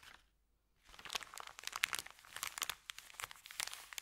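Fingertips press and rub a thin, empty, crumpled white Subway paper bag lying flat on carpet. After a brief crinkle and a short near-silent pause, dense, bright crinkling starts, full of sharp crackles. It continues steadily to the end with little low end.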